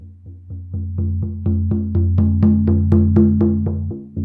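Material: Synthetic membrane.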